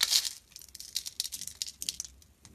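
A solid purple and white striped bar of soap, held in the hand, is shaved with a metal blade into crumbly flakes. A loud, bright crackling burst opens, followed by a quick series of short, crisp, high scraping strokes with almost no low end.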